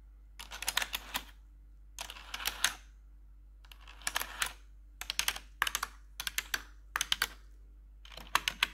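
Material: Plastic.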